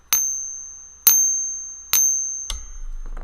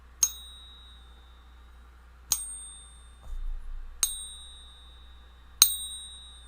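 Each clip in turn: First: fake silver bullion coin. Second: genuine silver bullion coin.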